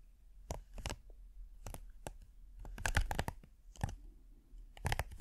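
A thin, flat red silicone hexagonal mat with a dotted texture, held near the face, is scratched slowly with the fingernails. Short, crisp, dry scratching bursts come in loose clusters over a quiet, low background rumble.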